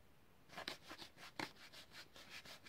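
Fingernails rub and scratch the long, hollow blister pack of a blue utility lighter, a clear plastic shell on a yellow card, held in both hands. Quiet, bright, dry scratching strokes come in repeated bursts, each fading almost instantly with no ring.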